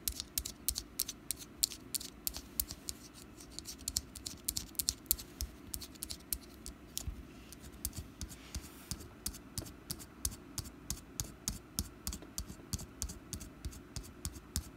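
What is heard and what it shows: Long black nails tap and scratch the side of a small, solid orange wax pumpkin candle with a wick. The result is a quiet, fast, irregular run of short, dry, bright clicks that die away instantly, with soft scratchy rustling between them.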